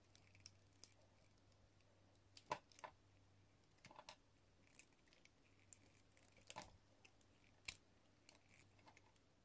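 A hand-held, solid yellow translucent soap bar embossed "200 GR" is shaved into long, thin ribbons with a metal utility-knife blade. Quiet, scattered crisp scrapes and short cutting strokes carry a bright edge over a faint, steady low hum, with each stroke dying away almost at once.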